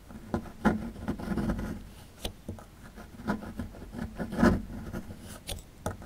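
A small, solid plaster block held in the hand has its edge scraped and chipped with a metal pick tool. Short, dry scratching strokes alternate with sharp little clicks and crumbly taps. The sound is mostly low-mid and muffled, with no ring after each strike.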